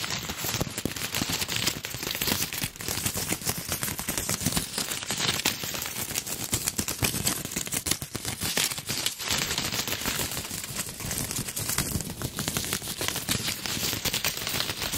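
A large red gift bow of shiny plastic ribbon, light with hollow loops, is crinkled by hand while its ribbon loops are pulled and flicked with the fingers. The result is a dense, bright, crackling crinkle that runs steadily for the whole clip, with many quick snaps and little low end.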